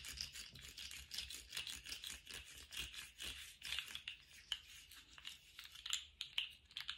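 Fingers in lace gloves twist and shake a small, colourful plastic articulated slug fidget toy, whose hollow, jointed segments rattle and click against each other. The result is a quiet, dense stream of bright, dry clicks at an uneven, fast pace, with almost no low end and each click dying away almost instantly.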